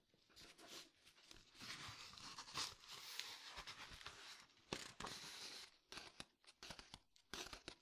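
Fingertips tap and scratch the paper pages of an old book lying open. The sound is quiet, dry and papery: long stretches of crisp, hissy scratching with sharp taps and brief crinkles in between, mostly high in pitch with little low end.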